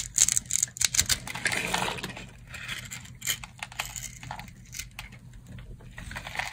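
A solid rectangular bar of dry pink soap, held in the hand, is carved with a metal utility knife blade. Crunchy, bright scraping cuts come in quick irregular bursts, loudest in the first two seconds and softer after, as flakes fall off.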